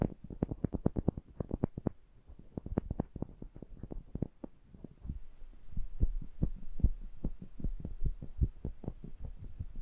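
A pair of small cylindrical metal pencil condenser microphones with mesh grilles is held in hand while fingertips and nails tap and rub the grilles and rims. The result is a fast, uneven run of dull, deep thumps with very short decay over a low hum, with a faint noisy hiss rising in the second half.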